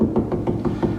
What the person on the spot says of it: see how that sounds solid there's a screw right there